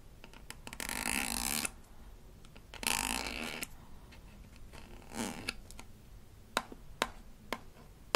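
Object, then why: Small rigid plastic toy tube with paper label. Long nails scratch and tap a small rigid plastic toy toothpaste tube from a Melissa and Doug Super Smile Dentist Kit, with a blue cap and paper label. Three bright, hissing scratching passes over the label and cap are followed by four sharp, dry taps.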